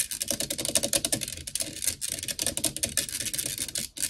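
Long nails use both hands to tap and scratch fast on the black metal mesh grille of a blue desktop microphone. A dense, rapid stream of sharp, bright clicks mixes with scratchy rasps, with very little low end. Each tap stops short with no ring, and the flurry runs steadily with only a brief dip near the end.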